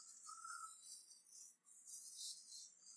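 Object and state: Nothing is struck.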